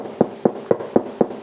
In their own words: еще один способ определить что тесто хорошо уже подошло постучать по дну слышим глухой звук значит тесто хорошо выбродилось